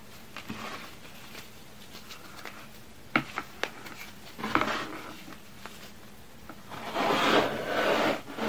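Small, solid pink chalky pieces of baking soda and cornstarch are crushed and rubbed between fingertips with long red-painted nails over a pile of powder on a white board. Faint gritty rubbing gives way to a few sharp, dry crunches and snaps. It ends in a louder, dense stretch of bright crumbling and grinding as the pieces break down.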